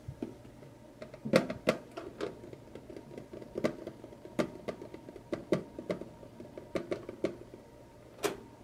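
Fingertips and short nails tap and scratch the side and bottom edge of a small, hollow printed tin lunchbox. The result is a series of quick, dry metallic taps with a hollow tone around 530 Hz that die away almost at once, with faint scratching between them over a quiet background.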